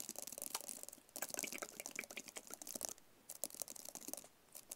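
Fingertips and nails tap and scratch a small, hollow, white rigid paperboard phone box. Quick, dry, crisp clicks and scratchy rustles come in dense bursts, mostly bright with a light hollow knock underneath. They stop briefly twice, and each tap dies away almost at once.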